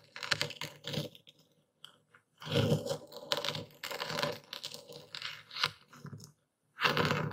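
A dark stone pestle pounds and grinds coarse white Epsom salt crystals in a wooden bowl while a hand holds the bowl steady. Dense, gritty crunching comes in bursts of bright crackle over a low thump, broken by short silent pauses, as the crystals are crushed.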